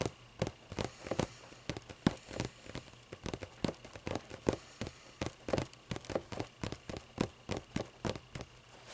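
Long nails scratch and rub across the paper pages of a thick hardcover book lying open. About 36 short, dry, crackling strokes follow one another in a quick, uneven rhythm, each fading almost instantly over a faint steady hiss.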